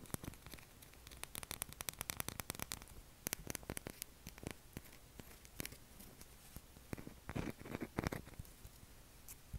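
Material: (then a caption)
Soap. A palm-sized, solid light-blue Dove soap bar is held in both hands and scratched and tapped with short fingernails, with soap shavings falling onto the table. Quiet, dry, rapid clicks and crisp scratching come in dense bursts. Each sound stops almost instantly, with a few louder taps near the end.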